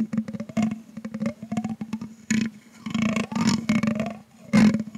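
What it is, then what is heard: Metal microphone grille tapped and scraped. A thin grey stick is dragged and tapped across a hollow metal mesh microphone grille with a green LED, while the other hand rests on the stand. Quick ticking taps ring over a steady low hum near 207 Hz, and gliding scrapes sweep the pitch up and down. Louder scraping bursts break in toward the end.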